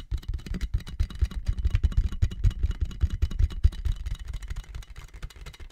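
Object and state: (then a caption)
Plastic air column cushion bag. A clear inflated plastic air-column cushion bag with hollow tubes is held in both hands while fingertips and nails tap on it, then it is lifted up at the end. The result is a quick, continuous run of soft, dull, low thumps that die away almost instantly, with almost no high or bright content.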